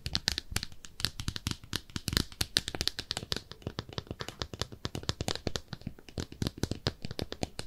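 Long nails tap and scratch a small, empty, pink speckled ceramic soap dish shaped like a bathtub. The result is a quick, steady stream of dry, bright clicks and scrapes that stop at once with no ring, over a faint low thump from each contact.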